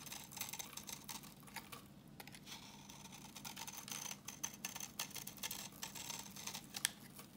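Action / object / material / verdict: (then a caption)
scrape / soap bar / soap / none. A solid, translucent orange bar of dry vintage soap, held in the hand, is scraped with a utility knife blade, shaving off crumbly yellow flakes. The scraping comes as a dense run of crisp, bright, dry ticks and rasps with no ring, steady and quiet throughout with a few sharper clicks toward the end.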